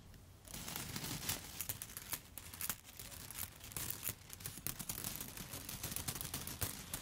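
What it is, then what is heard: Bundle of dry spaghetti. A handful of long, dry yellow spaghetti sticks held upright is tapped and scratched with long, foil-covered pointed nail tips. After a brief quiet opening, a steady stream of sharp, bright clicks and dry scratchy rustling follows, each tap dying away almost instantly over a soft low rumble.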